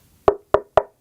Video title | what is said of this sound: Audio Explained : Speaker Design And What to Buy | has a nice thick sound to it